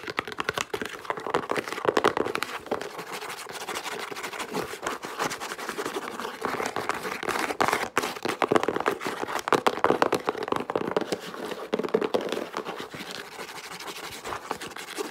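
Long pink acrylic nails quickly tap and scratch the flat face of a small, closed, hollow brown corrugated cardboard Jabra headset box held in the hands. The result is a dense, continuous stream of dry, short clicks and scratchy scrapes with a papery mid-range tone.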